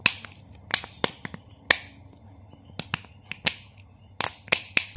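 A small clear plastic Nestlé water bottle, partly filled with water and capped, is squeezed, crinkled with fingertips and turned in the hands. About thirteen sharp, bright plastic snaps and crackles sound out over a quiet low hiss, each dying away almost instantly.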